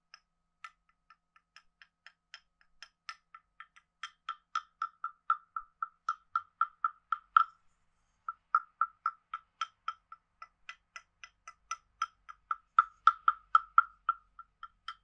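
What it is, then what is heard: Wooden frog guiro. A wooden stick rubs along the ridged back of a hand-sized, carved, hollow wooden frog guiro, producing a croaking rasp. About 39 short, woody clicks centered near 1.3 kHz with bright overtones come in quick, uneven strokes, growing louder toward about 7 seconds. After a brief pause, the strokes resume and peak again near the end.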